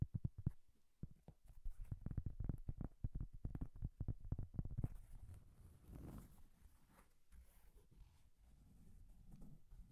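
A round, flat, solid cork coaster held close to the microphone is tapped and scratched with long painted nails. A rapid run of dull, low, short taps leads into softer scratching and rubbing.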